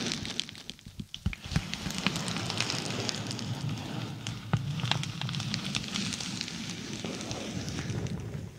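A dark glossy plastic padded bubble mailer is held over the mic while long nails scratch and tap its surface. The result is a continuous crinkly, crackling rustle with a low, bassy body and frequent sharp, bright taps scattered irregularly throughout.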